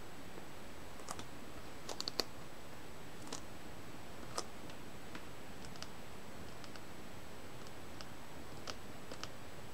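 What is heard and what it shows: Long nails tap on the front of a Rayman Origins Wii game box, a hollow plastic case with a paper insert under a clear sleeve, held in hand. The result is sparse, irregular, soft clicks with a bright edge, scattered over a quiet, steady hiss.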